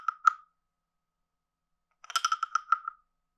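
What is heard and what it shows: A palm-sized, hollow, carved reddish-brown wooden frog guiro with a ridged back is held in one hand and played with a wooden stick that is scraped along the back ridges and tapped near the head. Two quick hollow wooden knocks with a tone near 1.3 kHz are followed by a pause of more than a second, then a rapid run of dry, clacking clicks with bright edges. Each sound dies away almost at once.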